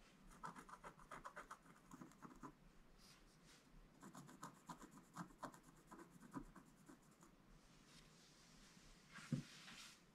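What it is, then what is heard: Scratch-art card page. A wooden stylus scratches lines across a flat, black-coated scratch-art page, making quiet bursts of short, dry, rasping strokes with brief pauses between them. A single louder thud sounds near the end.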